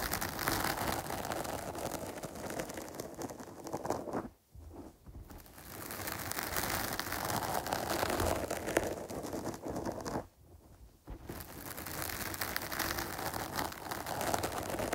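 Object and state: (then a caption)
Foam microphone cover scratched with nails. Long pointed nails scratch the top of a dark, medium-sized foam microphone windscreen while the other hand holds its side. The result is a dense, continuous crackling and rustling scratch spread across low to bright frequencies, broken by two brief quiet pauses before the scratching resumes.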